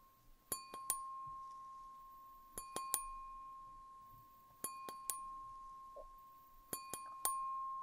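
Fingers tap the rim and bowl of a clear, empty wine glass held tilted in one hand, in small clusters of quick taps. Each tap gives a bright, ringing clink, and a steady pure tone rings on between clusters as the glass resonates.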